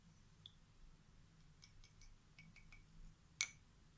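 Small solid light-wood toy picture puzzle cubes with printed animal pictures are held in one hand, a hand with long painted nails, and tapped and scratched with a long, thin, tarnished stick-like tool held in the other. Faint, bright, dry ticks and light taps come sparsely over a low, quiet background hum. A sharper, louder click near the end dies away almost at once.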